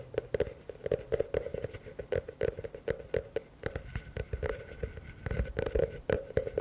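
A medium, hollow, empty blue plastic bucket is held upside down while fingertips and nails tap quickly on its base and walls. Dense, rapid hollow knocks with a mid-range tone around 430 Hz die away almost instantly, with faint bright clicks from the nails.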